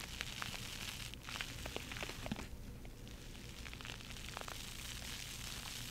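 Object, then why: Foam bath sponge. A hand-sized, soft, porous yellow foam bath sponge with a pink rim and holes is held in both hands, squeezed and scratched with long nails. The result is a steady, quiet, crackly scratching with many small sharp clicks and pops over a bright, airy hiss and a faint low rumble throughout.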